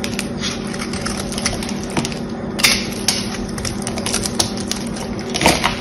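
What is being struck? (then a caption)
Bar of soap with a painted outer layer. A small blade scrapes the silver-painted outer layer off a solid bar of soap held in the hand, flaking it away to show the green soap underneath. A steady run of dry, crisp, bright scratching and ticking goes on throughout over a faint low hum, with a few louder, sharper scrapes standing out.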